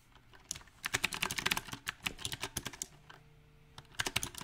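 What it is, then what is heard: Mechanical keyboard with plastic keycaps. Fingertips type on a backlit compact mechanical keyboard with round typewriter-style plastic keycaps on a silver metal frame. Sharp, bright clacks come in an uneven rhythm, with dense bursts, a quieter pause near the three-second mark, and a final flurry. Each keystroke is crisp and short, with almost no ring.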